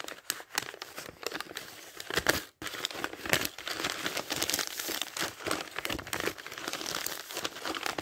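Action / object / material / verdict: scrape / thin paper pages of a thick dictionary / paper / none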